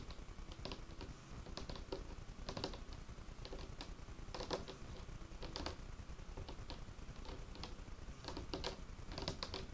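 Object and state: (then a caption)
Wooden table top. Fingertips of both hands drum and tap the surface of a large, solid dark wood tabletop. The result is a quiet, irregular patter of soft, short taps, each with a dull low thud and a brief bright click that dies away quickly.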